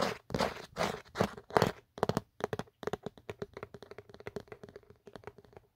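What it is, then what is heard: Plastic phone case, scratched and tapped. Fingertips and short nails scratch and tap along the ridged geometric inner surface and camera cutout of an empty black Otterbox plastic phone case, a hollow shell. Several longer scratchy rasps come first, then a quick run of short, dry taps. A faint hollow tone sits around 430 Hz.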